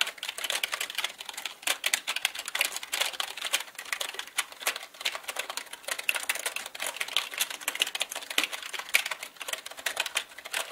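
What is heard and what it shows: Fingertips of both hands type on a black mechanical computer keyboard with plastic keycaps, making a dense run of sharp, bright plastic clicks with no low end. The keystrokes come in quick bursts with short, uneven pauses, each click dying away almost at once.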